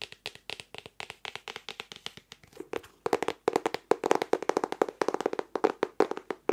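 Fingertips and nails tap rapidly on the printed floral hardcover of a medium, solid, closed notebook made of cardboard board and paper, held near the mic. About 45 short, dry taps with no ring carry a hollow tone around 440 Hz and crisp clicky edges. The taps grow louder and fuller after the first three seconds.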